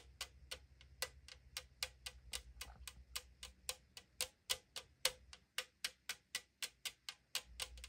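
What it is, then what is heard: Aluminum drink can tapped with fingernails. Long acrylic nails tap the side wall of a tall 500 ml aluminum drink can lying on a table. The can gives 29 quick, bright, clicky taps at a slightly uneven pace over eight seconds. Each tap has a hollow, thin-metal ping around 520 Hz that dies almost instantly.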